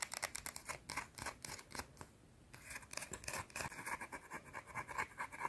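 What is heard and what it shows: A round, solid white soap bar held in the fingers is scratched and tapped with long dark-teal nails. Rapid, bright clicks and scratches run in a quick, uneven rhythm, pause briefly in the middle, then resume just as fast.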